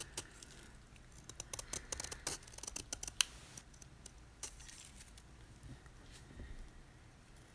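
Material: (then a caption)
Magnesium carbonate. A utility knife blade scrapes and carves the face of a solid white, palm-sized gym chalk block (magnesium carbonate) held in the hand, shaving off flakes. Quick, dry, bright scratches and crisp ticks come in an irregular cluster over the first three and a half seconds, peaking in one sharp, loud snap. Softer, sparser scraping follows.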